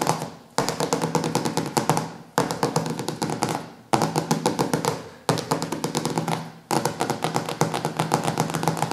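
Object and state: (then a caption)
Glossy hardcover cookbook. Fingertips and nails tap rapidly on the glossy laminated cover of a large, solid hardcover cookbook resting on a wooden table. The quick, dry taps come in several rolling bursts, each starting sharply and fading before the next, with a mid-range knock and a bright clicky edge from the nails.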